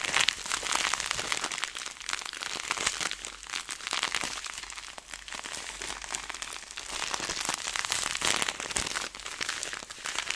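A clear plastic zipper bag filled with small seeds is squeezed and kneaded in both hands, so the seeds shift and rattle inside. The plastic crinkles in a dense, continuous stream of bright, crackly noise with almost no low end. It stays steady for the whole clip, with brief louder crunches.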